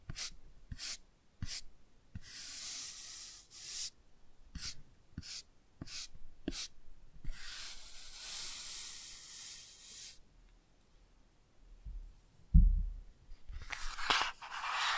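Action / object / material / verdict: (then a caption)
scrape / laminated cardboard book cover / laminated cardboard / none. A toothbrush scratches across a laminated cardboard board book cover held up in front of the mic, giving short bright scratchy bursts broken by longer hissing brush strokes. The brushing stops near the end with a low thump and a few quieter rustles.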